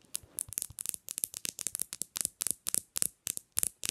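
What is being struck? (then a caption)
Glass and plastic smartphone. Long nails tap rapidly on the glass screen and plastic back of a bare black Samsung smartphone resting on a pillow. The result is a quick stream of dry, bright clicks in tight clusters, with almost no low end and no ring after each tap.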